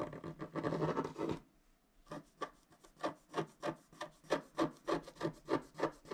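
A wooden stylus scrapes dense strokes into a flat scratch-art card of wax-coated paper, working on the tree trunk of the picture. A fast, continuous burst of dry scratching comes first, then a brief pause. After that come short, separate rasping strokes in a steady rhythm of about three per second.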